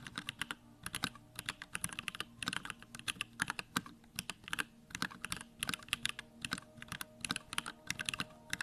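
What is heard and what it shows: Fingertips type rapidly on a Bakeneko65, a small 65% mechanical keyboard with Durock lavender switches, a plastic case, white plastic keycaps and the backlight on. The result is a dense, uneven stream of short, bright keystroke clacks in quick bursts with tiny pauses, each dying away almost instantly, over a faint steady low hum.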